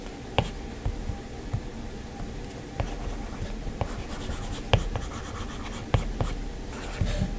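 Fingertips touch and pinch a flat glass iPad touchscreen, then a plastic-tipped Apple Pencil taps and strokes across the glass while drawing. Soft, low scratchy strokes are broken by short, sharp clicking taps with a brief bright edge. The taps die away almost instantly over a quiet, steady background.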